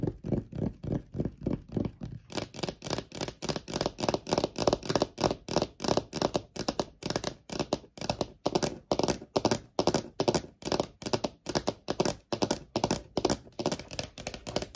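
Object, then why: Laminate-topped wooden desk. Long almond-shaped nails tap rapidly with both hands on a large, solid desk top with a wood-grain laminate surface, producing about 60 short, dry clicks with almost no ring. The first two seconds are softer and duller; the taps then turn brighter and crisper, in a fast, steady rhythm to the end.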